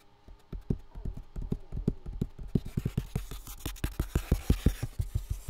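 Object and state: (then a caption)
Full box. A full box with contents inside is tapped in a quick, uneven rhythm. Each tap lands as a short, dull, low thud that dies away almost at once.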